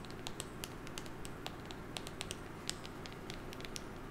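Long painted nails tap and scratch a small, hollow, rectangular printed cardboard box with a white top and colored stripes, held in one hand close to a fluffy microphone. Quick, bright, dry clicks and light scratches patter irregularly over a steady low rumble. Each tap dies away almost instantly.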